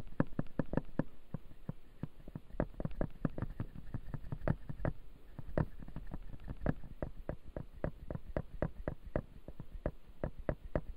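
Fingertips tap and scratch the upper front teeth of a clear acrylic dental model with white resin teeth. A steady run of short, dry, quiet clicks with almost no ring sits over a soft low rustle of scratching throughout.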